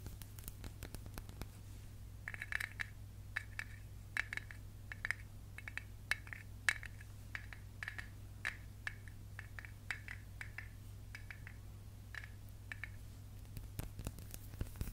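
Fingertips and nails tap and scratch the dark lid and glass sides of a medium glass candle jar with a cream label, filled with wax. Dozens of quiet, sharp clicks and brief glassy pings around 1.7 kHz ring out between soft scratching. A steady low hum sits underneath throughout.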